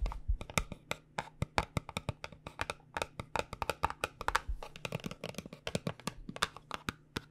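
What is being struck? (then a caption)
Paperboard cosmetic box. Long dark-painted nails tap rapidly on a small, cube-shaped white printed paperboard cosmetic box (Gron Rejuvenate) that holds a product jar. The result is a quick, uneven run of dozens of short, dry, hollow clicks that stop almost at once, with a faint steady low hum underneath.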